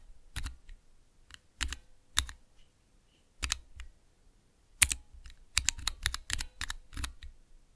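Fingertips slowly press the keys of a small clear plastic Cherry MX switch tester with transparent keycaps. Eighteen separate mechanical clicks sound, each a sharp, bright snap over a low thud that dies away almost instantly. The presses come in uneven bursts with short quiet gaps between them.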